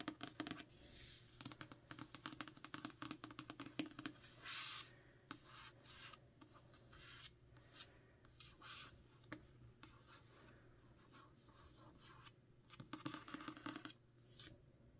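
A hardcover copy of *A Darker Shade of Magic* with a paper dust jacket is held in hand while long nails rub and tap along its spine and then its front cover. The result is quiet, dry scratching and papery rubbing, with rapid, crisp little taps and brief brighter swishes. Each sound stops almost at once, with no ring.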